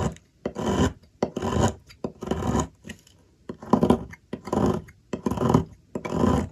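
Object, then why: Solid bar soap. A metal blade scrapes shavings off the remaining piece of a solid white soap bar held by hand at a table. A series of dry, rasping scrapes repeats at an uneven pace, with short pauses between strokes.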